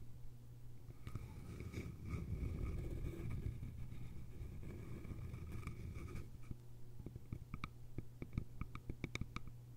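Long nails scratch and rub along the sides of a small, hollow, cylindrical bamboo container with a lid, making a dense, grainy rasp over a steady low hum with a faint hollow ring. About six seconds in, the scratching gives way to quick, irregular fingernail taps that sound as sharp, bright, hollow clicks.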